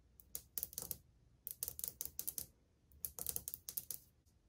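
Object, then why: Glazed ceramic wall tile. Long painted fingernails tap across old, flat, solid glazed ceramic subway tiles on a wall as the hand moves along it. Seventeen short, bright, clicky taps come in three quick bursts, each one dry with almost no ring.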